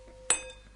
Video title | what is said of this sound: Animal Communication, Sexual Signalling and Emotions | if you ping a wine glass it'll wobble and it'll Wobble the air and then that's what you hear a sound